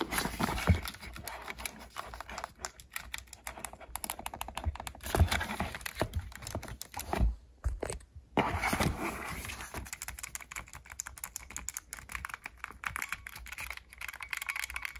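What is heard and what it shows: A grey plastic Nintendo Switch Joy-Con grip controller, hollow and hand-sized, is held in the hand while fingertips rapidly tap and press its plastic buttons. Dense, fast clicking and clacking with short, dry transients runs throughout, briefly pausing twice near the middle before resuming.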